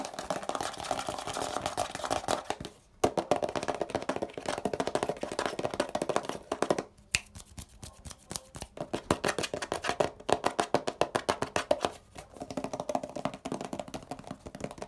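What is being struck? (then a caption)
Hollow plastic spray bottle. A hollow grey plastic Poliflor furniture polish bottle, about 20 cm tall with a blue cap and paper label, is held in one hand while fingertips and nails tap and scratch its body and label. Rapid, crisp, dry taps and scratchy rustles with a hollow midrange tone die away almost instantly. The bursts are broken by brief pauses near 3, 7 and 12 seconds.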